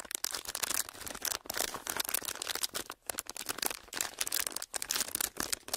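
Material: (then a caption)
Plastic. Empty, clear, thin ridged plastic packaging is pressed and crinkled with fingertips. It makes dense, bright crackling and snapping with almost no low end, in quick bursts separated by a few brief pauses.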